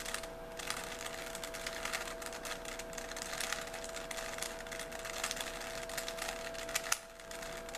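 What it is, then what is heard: Plastic puzzle cube being turned. A small, solid 3x3 plastic Rubik's cube is held in both hands while its layers are rotated with the fingers. The plastic pieces make a dense run of quick, bright clicks and rubbing sounds over a faint steady hum, ending in a sharper click and a brief lull near the end.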